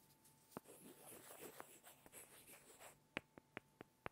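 Two small solid light-wood blocks are rubbed and tapped together by hand. A soft, bright scraping rustle is broken by a few sharp clicks, then ends in a run of five crisp, dry taps that stop instantly without ringing.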